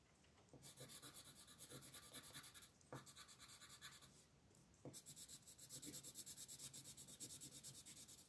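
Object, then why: Wooden colored pencil on a paper coloring page. A purple wooden colored pencil scratches and rubs across a thin paper mandala page lying flat in a coloring book, shading in quick back-and-forth strokes while the other hand, with long painted nails, holds the page. The result is a dry, bright rasping texture in two bursts of rapid strokes separated by a short, quieter pause.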